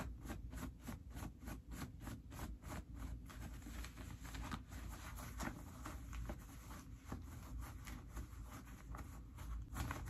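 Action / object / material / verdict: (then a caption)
scrape / cotton denim jeans pockets / cotton denim / none. Fingers pull the pocket linings out of dark stretch cotton denim jeans and tuck them back in, rubbing the fabric. It makes a steady run of quiet, quick rustling and scratching strokes over a low, dull rumble.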